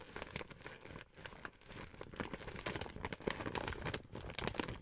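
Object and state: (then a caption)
Empty plastic gift bag being crinkled. An empty pink printed plastic gift bag with grey handles is squeezed and crinkled by hands and fingertips while nails scratch across it. The result is a dense, continuous crackling and crinkling with bright, sharp rustles and brief scratchy bursts that rise and fall in loudness.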